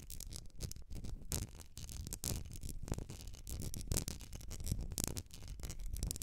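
Long nails scratch the etched sides of a medium glass candle jar filled with solid wax, held tilted. Quick, gritty scrapes arrive in rapid bursts, each with a bright hiss over a low, dull rumble, and they stop dead with no ring.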